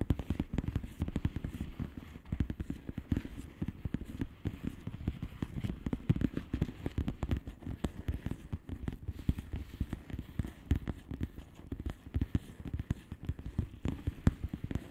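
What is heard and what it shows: Long polished nails of both hands tap rapidly on the bubbles of a flat, hollow plastic bubble-wrap mailer lying on a surface. The result is a dense, steady stream of short, dull, low-pitched taps with almost no ring.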